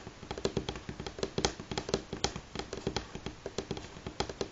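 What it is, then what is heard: Wooden tabletop, fingernail tapping. Both hands tap rapidly with natural fingernails on a solid, light pine-grain wooden tabletop, making about 25 quick, dry clicks in 4.5 seconds. Each tap is short and crisp, with a woody knock near 400 Hz and a bright, clicky edge from the nails, and it dies away almost at once.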